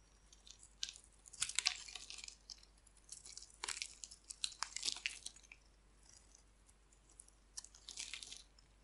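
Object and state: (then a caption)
Dry bar soap being carved. A hand-sized, dry purple and pink striped bar of soap is held in the hand and scraped and carved with a metal utility blade, shedding crumbly flakes. Quiet, bright, crisp scraping and crunching bursts come in irregular clusters, with short pauses of near silence between them.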